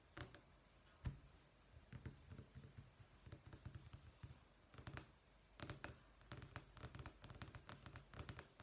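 Long manicured fingernails and fingertips tap and scratch a dark wood-effect vinyl flooring sample page, a thin solid sheet lying over a stack of samples in a thick sample book resting flat on a desk. Quiet, irregular clicky taps and short scratchy strokes come in scattered clusters, each tap a dull, low thump with a bright, crisp edge that dies away almost at once.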